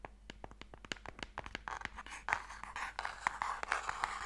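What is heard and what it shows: Fingernails tap and scratch the lid of a small, closed, pale wooden Mikado box, which is hollow and holds sticks. Quick, dry, irregular clicking taps come first, then give way to a denser, brighter scratching rasp. Sharp nail clicks keep cutting through it, each dying away almost at once.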